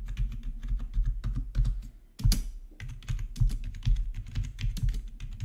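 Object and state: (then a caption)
Plastic membrane keyboard being typed on. Both hands type with their fingertips on a full-size black plastic RGB membrane gaming keyboard with rainbow backlit keycaps, resting on a marble surface. A steady run of soft, muffled, low-heavy key clacks comes in quick bursts, with a short lull near the two-second mark followed by a louder flurry. Typing then resumes at an even pace.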